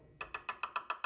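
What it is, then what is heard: Metal RC truck body panel. A part of an all-metal Huina 1582 RC dump truck is tapped seven times at a quick, steady pace during unboxing. Each tap gives a short, bright metallic tick around 1.3 kHz that dies away almost at once, confirming the part is metal.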